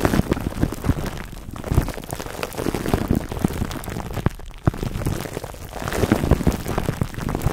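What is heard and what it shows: Clear plastic cling wrap stretched over a black foam microphone windscreen is held between both hands while fingertips squeeze and rub it. Dense, continuous crinkling and crackling fill the clip, with many sharp little pops over a heavy, low, muffled rumble, much like rain pattering on a surface.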